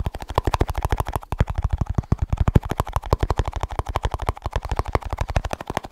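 Fast tapping on a small snus container produces a rapid, steady run of about 44 short, dry taps over six seconds. Each tap is a quick, low, thumping knock with a slight mid-range click, and the hits die away almost instantly.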